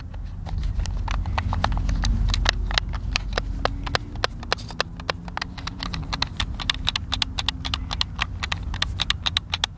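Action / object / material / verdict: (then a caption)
tap / plastic game controller / plastic / none. Fingertips tap and click the buttons of a hollow, hand-sized white plastic Xbox controller held over a picnic table. About fifty sharp, dry clicks come in an uneven rapid run, each one brief and bright with almost no ring. They sit over a steady low rumble with faint wavering low tones.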